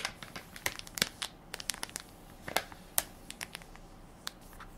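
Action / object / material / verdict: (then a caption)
scrape / soft plastic film wipes pack / plastic film / none. A hand-sized Equate baby wipes soft pack made of crinkly plastic film, full of wipes and held in one palm, is pressed and crinkled by fingertips and nails. A quick, irregular series of sharp, bright crackles and crinkles sounds over a soft hiss, with little low end. Each crinkle stops almost instantly.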